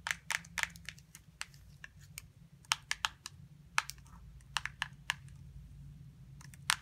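Long nails tap and scratch the gray plastic base, with its label, of a small hollow plastic putty container that has been flipped over. About 22 sharp, dry, bright clicks ring out at irregular intervals, with faint scratchy rustles between them. Each tap dies away instantly over a quiet low rumble.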